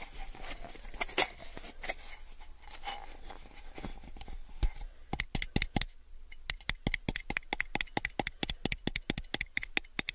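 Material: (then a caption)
Plastic. A small, clear, rigid plastic cup, hollow and empty and held on its side, is tapped and gripped around its body and rim by fingertips and nails. The first half is a soft, dense rustle of grips and light scratches, with faint, low ringing. The second half turns into a quick run of sharp, bright, dry taps that stop almost instantly.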